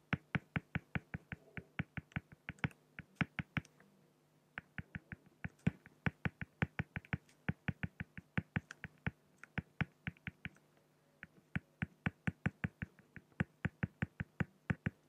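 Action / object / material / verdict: scrape / pen on a flat acrylic (plexiglass) sheet / acrylic / none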